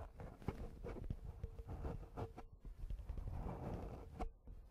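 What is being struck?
Foam microphone windscreen.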